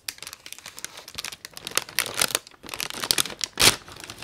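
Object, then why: Kraft paper gift bag. A printed brown kraft paper gift bag, thin and hollow, is held in both hands and crumpled with the fingertips. Dense, bright crinkling comes in quick bursts, with a short pause near the middle and a louder crunch toward the end.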